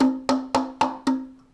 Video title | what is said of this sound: 1st Grade Science: What makes sound louder or quieter? | There's all this space inside the cup. I'm going to bang on it. Well, that sounds beautiful. And that was also loud